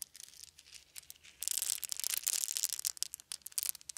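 A handful of small round wooden beads is rolled and shaken in cupped hands. Soft, sparse clicks give way after about a second and a half to a denser, bright, dry rattle of quick clicks that ring only briefly.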